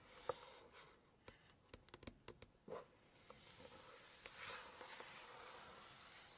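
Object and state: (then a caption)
Glossy paper cookbook page. Long nails scratch and tick across a glossy map spread in a large hardcover cookbook, making quiet, sharp, bright clicks and scrapes over a soft hiss. The page is then turned, giving a longer, brighter rustling swell of glossy paper before it settles.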